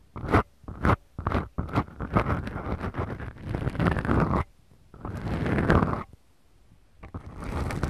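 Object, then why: Foam microphone windscreens. Long acrylic nails scratch and rub two small black, soft, porous foam windscreens on the mics of a Tascam recorder. Short, separate scratching strokes give way to longer, continuous rubs, producing a close, low-heavy, muffled crunching scrape with brief quiet pauses between passes.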